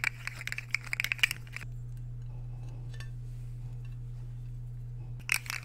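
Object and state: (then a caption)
Ceramic plate scraped with a fork. Metal fork tines are scraped across the face of a solid, empty white square ceramic plate held tilted. A quick run of bright, clinking scrapes with a ringing tone near 2.4 kHz fills the first second and a half, then gives way to a steady low hum. A short final burst of scraping comes near the end.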